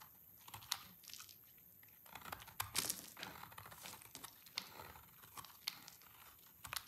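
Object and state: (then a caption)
Dry soap bar being shaved. A partly carved, solid, dried orange soap bar is held in the hands while a black knife blade shaves thin curls off its edge. The clip is a quiet series of dry, bright scraping and crunching crackles, with sharp flicks as the curls break away and very little low end.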